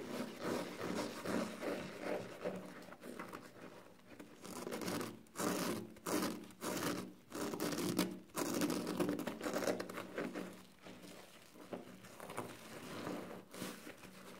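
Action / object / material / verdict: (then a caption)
scrape / foam sponge with scouring pad / foam / none. Fingers squeeze, crush and rub a soapy yellow foam kitchen sponge with a green scouring pad. The result is an irregular run of scratchy, wet rubbing and crackling bursts, mostly in the low-mid range with bright edges. Short quiet gaps fall between some of the squeezes.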